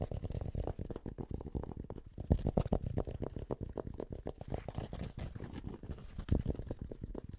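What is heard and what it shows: Fingertips and nails quickly tap and scratch the fabric crown of an empty, hollow light grey Penn State Nittany Lions cotton-blend baseball cap held close to the mic. The result is a dense, rapid stream of soft, muffled low thumps mixed with dry, scratchy rustling, with a few slightly louder taps along the way.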